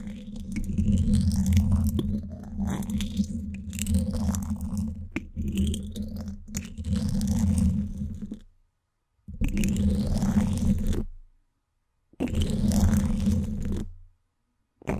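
Two thin wooden sticks scratch both sides of the woven steel mesh grille on the hollow dome of a Blue Yeti microphone. They make a dense, crunchy scraping over a heavy low rumble, with faint bright streaks above. One long stretch of scratching stops at about 8.5 seconds, then two shorter bursts follow, each separated by silence.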